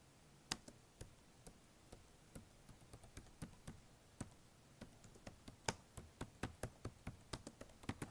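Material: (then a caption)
Plastic. Fingertips tap and type on the black plastic keys of a blue HP notebook, giving about twenty short, dry, quiet clicks at an uneven pace. Each click is a brief broadband tap with a bright top and no ring, over a faint steady hiss, and the taps come more densely toward the end.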